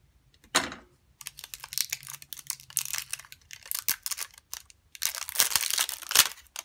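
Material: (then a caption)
Plastic. A small, hollow, clear plastic flower-shaped putty container with a gray base is turned in the hands and tapped with long nails. Bright, dry clicks and crinkly plastic rattles come in quick, uneven bursts, with a sharp tap near the start. A faint low hum sits underneath for part of the clip.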